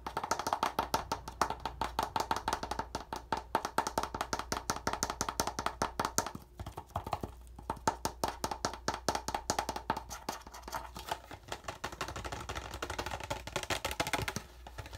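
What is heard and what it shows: Fingertips tap rapidly on the yellow plastic screw cap of an empty clear PET plastic water bottle, then on the bottle's thin plastic wall. The result is a fast, steady run of dry, hollow clicks with a bright plastic tone around 890 Hz. Each tap dies away almost instantly, and the taps grow slightly softer and denser partway through.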